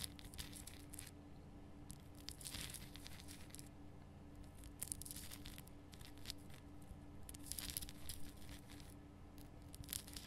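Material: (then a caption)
Rock salt. Long painted nails scratch the rough surface of a large, solid, lit pink rock-salt Himalayan salt lamp. Bursts of bright, crackly, tearing scratches rise and fade over a steady low hum.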